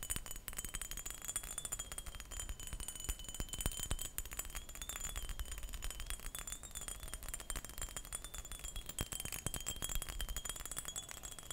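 A textured glass perfume bottle is tapped and scratched in quick, dense succession, making quiet, brittle clicks and scraping rattles that blur together. A faint steady tone sits near 3 kHz over a bright hiss throughout.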